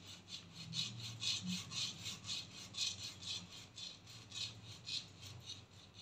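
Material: Plastic.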